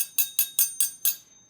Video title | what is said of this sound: Distance Learning 2020 Week 1 Lesson 2 | if I tap it on the end like this it's kind of clunky and not very musical